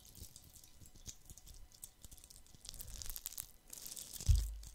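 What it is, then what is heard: Glitter-covered plastic Christmas bauble. A fist-sized, hollow red plastic Christmas bauble coated in glitter is held in both hands and scratched with fingertips and nails. It gives a steady run of soft, dry, crackly scratching with bright gritty texture and many small taps. The scratching grows busier toward the end and finishes with a single louder low thump.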